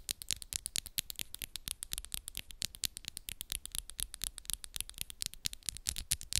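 Long, solid, coffin-shaped acrylic press-on nails, pink and black with moon designs, tap and scratch quickly against the nails of the other hand, close up. A rapid, uneven run of about fifty short, bright clicks and scrapes comes through quietly, with almost no ring after each hit.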